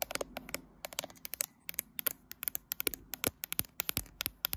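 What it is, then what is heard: Glass and metal smartphone. Long light-blue fingernails scratch and tap the right edge and back of a graphite smartphone with a glass back and metal frame, held in a tripod clamp. About 29 sharp, dry clicks and short scratches come in quick irregular bursts. They are bright and crisp with almost no ring and little low end.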